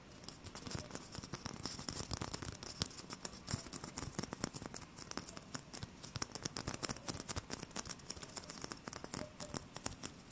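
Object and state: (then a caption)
Styrofoam ball. Fingertips tap and scratch the surface of a small, solid white styrofoam ball held close in both hands. Quiet, rapid, dry taps and scratchy rubbing run continuously, with a bright, crackly texture and no ring.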